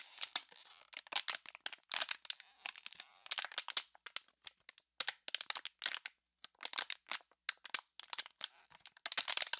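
An empty, clear, crumpled, hollow plastic water bottle is squeezed and crackled by hands with pink nails. Bursts of sharp, bright crinkling and crackling snaps come in quick clusters separated by brief pauses, with almost no low end. Each snap dies away almost instantly.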